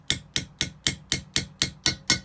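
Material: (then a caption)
Rubber and steel. A valve stem seal on a valve guide in an Opel Z20LET cylinder head is tapped lightly nine times, each tap a short, bright click that dies away almost instantly. The tapping continues until the note changes, and the seal is then fully seated on the guide.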